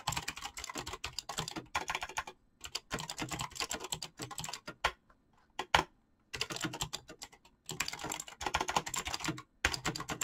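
Fingertips type rapidly on a full-size backlit mechanical keyboard with PBT plastic keycaps, giving dense bursts of bright, short clacks. The bursts are broken by brief pauses, and a few louder isolated key strikes land during the longest gap around the middle.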